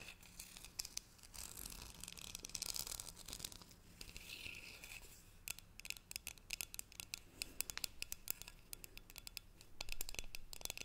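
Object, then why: Metal tea tin. Long nails scratch and tap along the side of a hollow green cylindrical metal tea tin with a gold lid. Soft, bright scraping gives way to quick, crisp, dry clicks that stop instantly with no ring. Everything stays quiet and close throughout.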